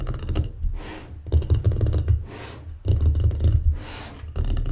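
Long painted fingernails and fingertips of both hands tap and drum on a folded, closed, solid light wooden mancala board lying on a table. Rapid clusters of dull, low, hollow knocks and clicky taps come in bursts, separated by quieter stretches of soft airy hiss.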